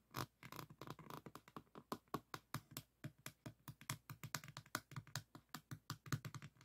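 Fingertips scratch and tap all over a small diamond painting, its faceted resin drills set on a flat board. About 35 short, dry taps and scratches come in a quick, uneven run, each with a soft low thump and a crisp, bright clicking edge that stops almost at once. The sound stays quiet and close throughout.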